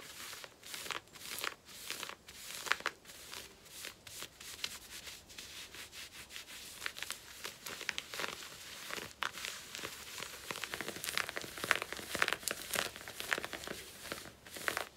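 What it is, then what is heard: Denim jeans scratched. Long painted nails, with rings on the fingers, scratch and rub worn black cotton denim skinny jeans around the back waistband and pocket area. The result is a quiet, steady stream of dry, bright rasping and scratching strokes at an uneven rhythm, with almost no low end and no ring after each stroke.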